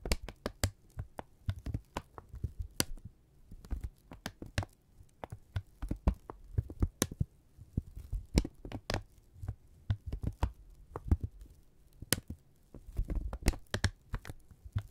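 A thin brown kraft paper strip, held in both hands, is crumpled, snapped taut and rubbed with fingertips. The result is a rapid run of short, dry crackles and sharp snaps with bright crisp edges, over a heavy low thump and a steady low hum. The sounds come in uneven bursts that are too close together to count.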